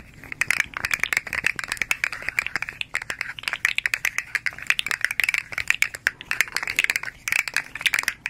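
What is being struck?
Hollow articulated plastic fidget toy.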